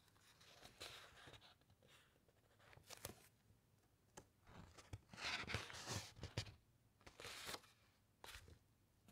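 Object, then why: Thick uncoated paper book pages. Long nails rub across the thick uncoated paper pages of a large open encyclopedia, and the pages are turned. Quiet, dry rustling and bright papery swishes come in irregular bursts, with soft crinkles and faint taps between them.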